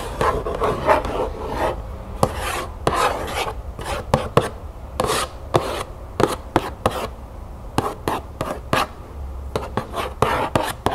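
Long nails scratch and tap across the back panel of an upright cardboard cereal box. Dry, rasping scratches in the midrange alternate with sharp, short taps that die away almost instantly, with little deep or bright content.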